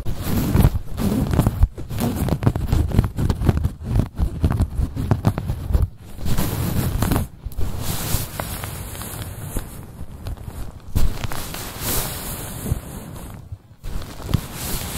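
Long nails scratch across the stitched surface of a soft, cream quilted padded fabric bag. The result is a dense, low, rustling scratch with crackly bursts that continues almost without a break, dropping out only for a few brief pauses.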